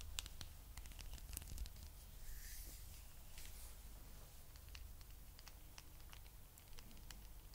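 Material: Rubber.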